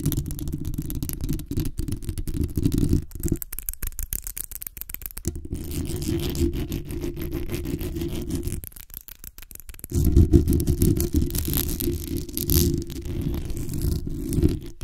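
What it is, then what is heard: Metal mesh microphone grille being scratched. Long nails and fingertips of both hands scratch the hollow metal mesh grille on the head of a black condenser microphone. The result is a dense, rapid, rough scratching with a heavy low rumble and thin bright rasp above it. The scratching thins out and quietens around the 3.5–5 second and 9 second marks before returning at full strength.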